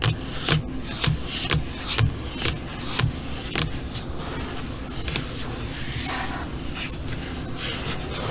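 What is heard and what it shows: Long fingernails on both hands tap and scratch across the flat black surface of an LCD computer monitor screen. Crisp, bright clicks with a short low thump come in a loose, roughly once-per-second rhythm during the first few seconds. A steady, hissy scratching and rubbing sound then fills the rest of the clip.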